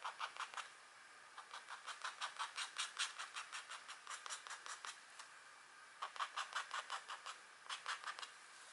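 A thin scratch art paper sheet, a black coating over a metallic layer, is scratched with short strokes of a green stylus tip while a long-nailed hand rests on the sheet. Dry, bright, rasping strokes come in quick rhythmic bursts, strongest around 1 kHz and up into the highs, with no low end. The bursts are broken by short pauses near 1 second and between about 5 and 6 seconds.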